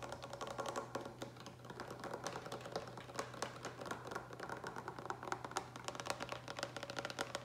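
Fingertips and nails fast-tap the sides of a large, hollow green plastic pitcher with a lid that appears to be filled with water. The result is a rapid, continuous stream of short, dry clicks and taps, like typing, over a faint steady low hum.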